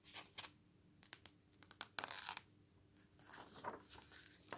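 Fingertips and a palm turn the thin coated pages of an open glossy paper travel magazine lying on a wooden table and rub them flat. Quiet, bright crinkles and sharp paper snaps come in short bursts, with a longer rustling swipe in the middle and softer brushing toward the end.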